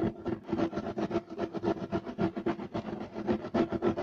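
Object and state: Woven fiber carpet.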